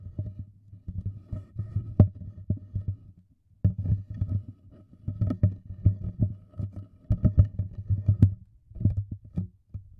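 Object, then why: Thin plastic water bottle. An empty, clear, thin-walled plastic water bottle with a printed label and barcode is held sideways in one hand close to the microphones while the fingertips and thumb tap and press its wall. The result is a dense, irregular run of soft, low, hollow thumps with quick decay and faint crinkly clicks, broken by brief pauses.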